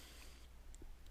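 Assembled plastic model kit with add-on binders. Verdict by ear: Tight.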